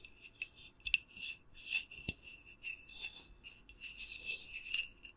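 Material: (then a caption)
Glass. Long nails scratch and rub the white lid and glass side of a small, hollow, clear glass candle jar with a lit candle inside. About nine short, bright, rasping strokes stand out over a quiet hiss, with a thin ring near 2.7 kHz and almost no low end.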